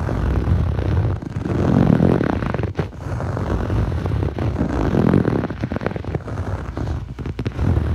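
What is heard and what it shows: Short fingernails scratch quickly across a blue textured foam yoga mat, a soft solid sheet. The result is a dense, muffled rasping that sits mostly in the low range with almost no brightness, swelling and dipping in steady waves for the whole clip.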